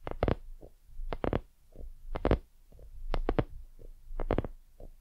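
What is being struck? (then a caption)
Soft silicone lamp. Long fingernails on both hands scratch and tap a hollow, soft white silicone dumpling lamp. The result is clusters of muffled, dull thuds with quick clicky attacks and brief scratchy rustles, heavy in low tones and dying away almost instantly.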